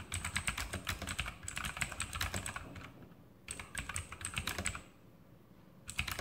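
A full-size RGB Sharpshooter X2000 mechanical keyboard with Outemu blue switches and plastic keycaps on a metal top plate is typed on with the fingertips in continuous key presses. Rapid, bright, clicky keystrokes come in bursts over a low thud from each press, with two brief quieter pauses before typing resumes.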